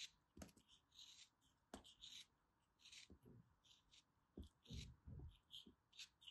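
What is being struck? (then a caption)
Molded block of kinetic sand. A small, solid molded block of orange kinetic sand, held in both hands with dark long nails, is cut and scraped with a small black plastic knife. Soft, gritty scrapes and crumbly cuts come in irregular bursts of bright hiss, with occasional dull low thuds as the blade presses through. The sound is quiet and close.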